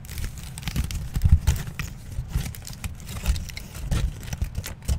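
A wrinkled aluminium foil sheet is stretched and crinkled by both hands close to the microphone. It gives a continuous run of dense, bright crackles and snaps over a heavy low rumble, with louder bursts rising and falling throughout.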